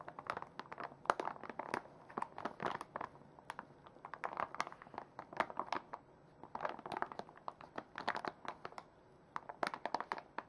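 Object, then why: Plastic wipes pouch. A full plastic makeup wipes pouch is bent and crinkled in the hands while nails run over the plastic. Dense bursts of crinkling and scratching crackle in uneven clusters, with short quiet gaps between them. The sound is dry and crisp, centred in the midrange with little low end.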